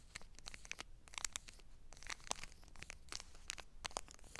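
Long black nails scratch and tap the crinkly surface of a small, flat foil-laminate Wet Ones travel pack lying on a fuzzy blanket. The result is a quiet, rapid run of bright, dry crinkles and clicks that stop almost instantly, with a low hum underneath.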